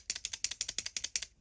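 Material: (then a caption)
Plastic. A plastic retractable erasable ballpoint pen that lacks the small noise-damping part, unlike the FRIXION BALL KNOCK ZONE, is shaken. The loose refill knocks around inside the barrel, giving a quick run of sharp, bright, high-pitched plastic clicks in rhythmic pairs. The result is an abnormal rattle that the missing silencing part would otherwise suppress.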